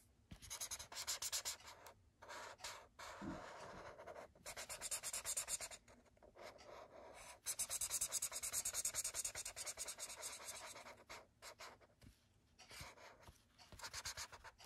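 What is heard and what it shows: A thick red felt-tip marker scrubs back and forth across a white paper sketchbook page, filling in a shape. It makes a dry, bright, scratchy rasp in quick, uneven strokes, broken by brief pauses where the tip lifts. It is soft and close, with no ring after each stroke.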